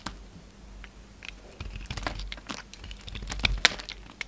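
A steel utility knife blade shaves a solid, hand-sized orange bar of soap held in the hand, carving it into a faceted shape as crumbly flakes fall off. The sound is a quiet, dense run of crisp, bright scraping crackles and ticks, with a few sharper snaps near the end.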